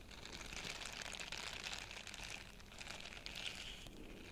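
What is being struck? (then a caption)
Silicone face scrubber bristles. A small, flat, purple heart-shaped silicone face scrubber with soft bristles, solid and hand-sized, is held in both hands while fingertips rub and scratch across its bristles. The result is a steady, quiet stream of dense, bright crackly scratching, concentrated in the high range around 2.8 kHz, with little low-end weight.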